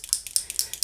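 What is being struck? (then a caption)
Small plastic liquid lipstick tube with a mixing ball. A tube of raspberry LipSense liquid lipstick is shaken before applying, and the mixing ball inside clicks as it blends the colors. Six quick, bright, high-pitched clicks come at a steady rhythm and die away almost at once.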